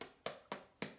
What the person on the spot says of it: if you lift up your bread roll and you tap it you can hear that hollow sound inside